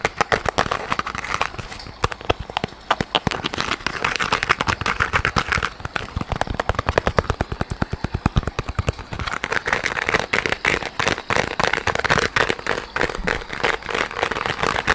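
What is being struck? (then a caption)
Soft bumpy rubber squishy toy. A small, soft yellow rubber squishy pineapple toy with a bumpy surface is held in both hands close to the microphone and squeezed and scratched with the fingers. It makes a dense, rapid stream of sharp, crackly clicks and rubbery scratches that run steadily across the whole clip, with slight swells in brightness.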